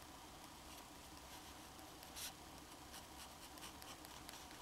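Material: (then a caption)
Paper. A black fountain pen held in the fingers scratches its metal nib across a flat, thin, solid sheet of drawing paper while drawing a small head. Quiet, dry scratching strokes come as short bright bursts of hiss over a faint low hum, with one louder scrape just after the two-second mark.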